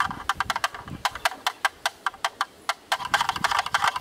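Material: Plastic.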